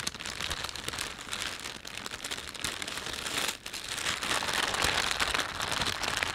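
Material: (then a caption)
Plastic. Flat hands and fingertips rub and crinkle a thin, empty panda-print plastic shopping bag. A steady, bright crinkling with dense, crackly rustles fills the clip, dipping briefly for a moment before picking up again slightly louder.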